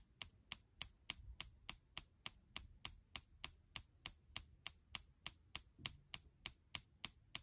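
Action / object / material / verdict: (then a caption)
scrape / aluminum laptop palm rest / aluminum / none. A fingertip and nail scratch and rub the aluminum palm rest near the lower right corner of a gold MacBook Air with a thin, hollow aluminum body. Twenty-five short, bright, high-pitched scratching ticks repeat at a fairly steady pace of about three and a half per second, each dying away almost instantly over a faint, low background rumble.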